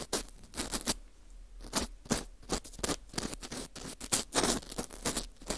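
A green plastic scoop scrapes and picks at the hole of a porous dried wheat gluten ring (fu). Short, dry, crackly scratches come in uneven bursts, each bright and broadband, with quiet gaps between them. The scraping sounds crisp and close, fading quickly after each stroke.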